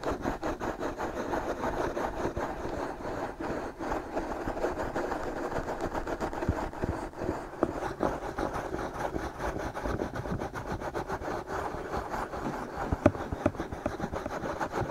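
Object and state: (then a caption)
Silicone microphone ears being scratched. Fingertips rub and scratch both soft silicone ears of a binaural microphone. The result is a steady, dense rustling and scraping concentrated in the low-mid range, with little bright content, and one sharper scratch stands out near the end.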